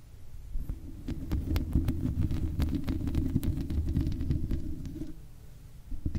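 Long red acrylic nails on both hands scratch and tap the hollow black metal mesh grille of a large microphone. The result is a dense, uneven stream of low, boomy rumbling thuds with quick bright clicks and scratches layered on top. It eases off after about five seconds before a few more taps near the end.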